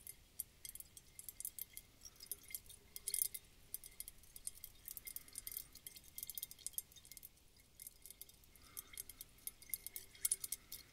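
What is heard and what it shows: A round clear glass bulb bottle, partly filled with water and glitter, is held in the hands, tapped with long dark fingernails and tilted. Quiet, rapid, bright glassy ticks and clinks come in irregular clusters, each dying away almost instantly, with faint sloshing beneath.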